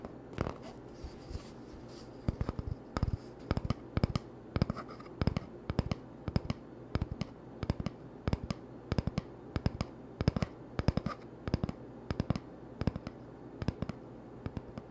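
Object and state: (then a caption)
Cardboard toilet paper tube. An empty, hollow cardboard toilet roll tube is held in one hand while the fingertips and short nails of the other hand tap and scratch it. The result is a steady, irregular run of sharp, dry, hollow taps with soft scratching between them, heard over a low, constant hum.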